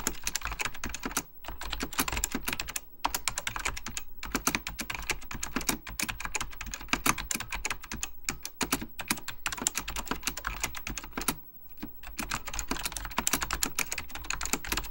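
Fingertips of both hands type steadily on a full-size beige plastic Apple Extended Keyboard II with mechanical key switches, under purple lighting. The result is a dense stream of short, bright clacks and clicks with a low thock under each press, pausing briefly now and then before the typing resumes.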